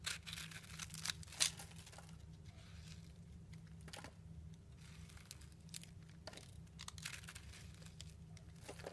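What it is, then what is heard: Bar soap being carved. A metal blade carves and shaves curls off a round, solid block of layered purple and pink bar soap held in a hand with long nails. Dry, crisp scraping and crinkly shaving sounds run throughout, with sharper, louder scrapes near the start over a steady low hum.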